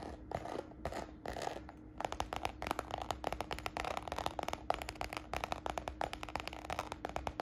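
Long nails scratch and tap the textured surface of a small red croc-embossed faux patent leather handbag held up in the air. First come a few slow, breathy scratching strokes, then dense, rapid clicky taps with bright scraping between them, over a faint steady hum.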